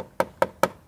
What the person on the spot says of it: dari plastik semuanya bisa dilihat dari hasil dari ketok kayak gini nih